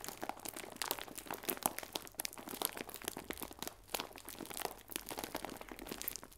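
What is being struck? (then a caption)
Plastic film bag of biscuits. A clear plastic film bag full of biscuits is held sideways and squeezed and crinkled. Dense, continuous crackling and crinkling fills the clip, bright and sharp with almost no low end, with quick snaps that stop dead.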